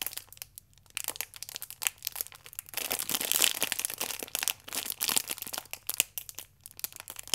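Fingertips with long nails squeeze and rub the clear plastic film wrapped around the front of a stack of yeast sachets. The result is dense, bright crinkling with sharp crackles and almost no low end, swelling loudest around the middle and again near five seconds before easing into quieter, scattered crackles.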